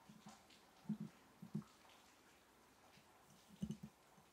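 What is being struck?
Glass mason jar holding matchsticks.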